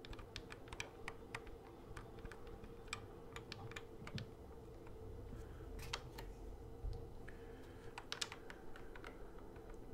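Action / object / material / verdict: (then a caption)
tap / plastic toy guitar controller / plastic / none. Fingertips tap the fret buttons and neck of a hollow plastic Guitar Hero guitar controller, making a quick, uneven run of short, dry clicks with a bright edge. The clicks die away almost instantly over a steady low hum.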